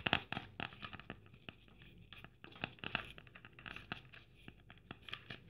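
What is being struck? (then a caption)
Plastic sequin-covered Christmas ornament ball. Long dark nails scratch over a red Christmas ball, covered in plastic sequins with gold braid trim, held in one hand. The result is a rapid, uneven run of dry, bright scratchy clicks and rustles that stop almost instantly, over a quiet background.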